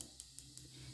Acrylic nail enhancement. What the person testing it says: you can hear that it's dry